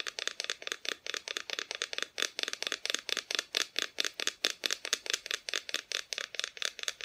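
A small wooden Christmas decoration showing Mr. and Mrs. Claus and their tree is tapped in quick, uneven bursts. The taps are dry, bright clicks with almost no ring and very little low end.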